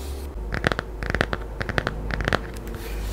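Long nails rub and scratch across the glossy cover and spine of a small, solid, laminated hardcover children's picture book held in both hands. Quick, dry scratching strokes come in four short clusters, each crisp with a mid-range rasp and a bright edge. A steady low hum sits underneath throughout.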